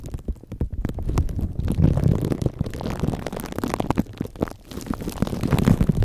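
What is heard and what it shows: Fingertips of both hands rub and scratch clear, crinkly plastic cling wrap stretched over a microphone head, with hollow foam or mesh underneath. The result is a dense, continuous stream of crackling scratches and rapid, muffled thumps, heavy in low, boomy rumble with little bright content. The loudness rises and dips in waves across the clip.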